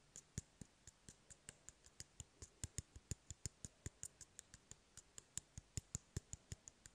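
Fingernails tap and scratch on an empty, hollow cardboard toilet paper roll held in the hand. About 37 short, dry clicks come in a steady, quick series. Each one is crisp and stops instantly with no ring, over a faint background hiss.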